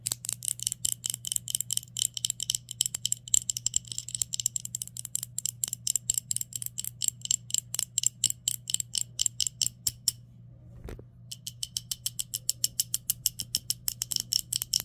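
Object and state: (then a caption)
Glass cologne bottle tapped with nails. A flat, hand-sized black glass Polo cologne bottle that appears filled lies on a shirt and is tapped and scratched with long nails across its glossy face. Around 80 quick, bright clicks with almost no ring fall in a fast, steady rhythm over a faint low hum. They stop briefly for about a second near the 10-second mark, then resume.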